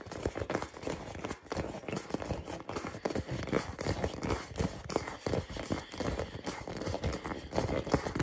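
A hand-sized hollow purple rubber or plastic ball, held close, is tapped rapidly with fingertips and nails. The result is a steady, dense stream of quick, dull, hollow taps with short decays and a soft mid-range body.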